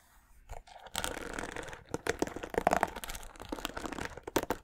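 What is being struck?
Plastic paddle hairbrush bristles.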